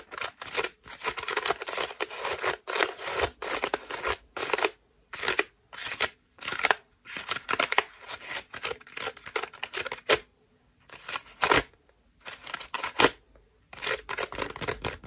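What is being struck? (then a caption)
Foam mesh bath loofah. Long fingernails scratch across the petals of a white ruffled foam bath loofah held in the other hand. The result is bursts of dry, bright, crackly rustling in quick strokes, separated by short silent pauses.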